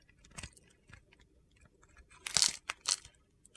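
A steel utility knife scrapes a hand-sized, solid, embossed soap bar with a blue-silver glitter coating, crumbling off brittle white flakes. Short, bright, crunchy scrapes come in quick bursts, with the loudest gritty crunches near the end.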